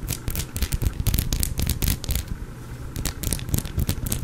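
An elongated, solid, cream-colored bar of soap, carved and uneven, is held in one hand and scratched along its surface with the fingernails, leaving soap shavings on the cloth. The scratches come as rapid, irregular rasping strokes, about four per second, with a dry, heavy low end and bright crackling bursts. There is a quieter, softer stretch just before the three-second mark before the scratching picks up again.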